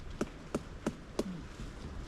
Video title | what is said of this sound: Monteverde canopy hike, Costa Rica | Even if they are hollow or not, all the trees are going to sound hollow.